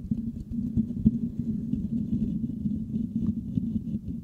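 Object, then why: Metal mesh microphone grille. Fingertips of both hands scratch the hollow metal mesh grille of a Blue Yeti microphone. The result is a steady, dense, low scratching rumble with a hum-like tone near 215 Hz, dotted with quick soft ticks and almost no bright content.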